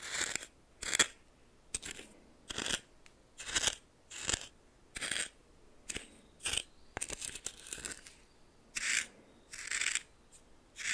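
A red plastic spoon stirs coarse salt in a small bowl, making short bursts of bright, gritty crunching and scraping. The strokes come in a steady series, with quiet gaps between them and almost no low end.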